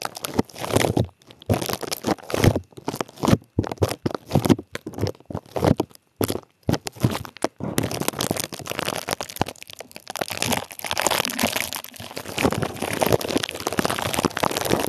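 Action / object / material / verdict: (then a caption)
scrape / plastic bubble wrap / plastic / none. Clear plastic bubble wrap held over the microphone is pinched and crinkled with fingers, popping the bubbles. Short bursts of crunchy crinkling and sharp pops alternate with brief silences for the first half. It then becomes a continuous, dense stream of crackling and popping until the end.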